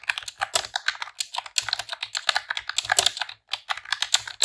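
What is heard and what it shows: Long press-on nails and fingertips type in rapid key presses on a pink retro-style plastic computer keyboard with round keycaps. The result is a dense stream of short, bright, clicky clacks with almost no low end. The typing pauses briefly twice.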